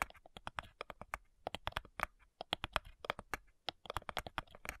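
Long nails tap rapidly on the front of a flat, hollow cigar box made of light wood. The result is a quick, irregular run of dry, clicky taps with a hollow, woody tone around 1.2 kHz and bright edges. Each tap stops almost instantly, with brief gaps between bursts.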